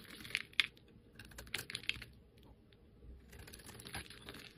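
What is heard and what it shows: A hand-sized, solid, rounded bar of pink and white striped soap with a red and black dotted edge is held in the fingers and scraped with a metal utility-knife blade, curling off thin shavings. Quiet, bright, crisp scrapes and sharp crackling ticks come in irregular bursts, with a few louder snaps near the start and a softer, steadier scraping toward the end.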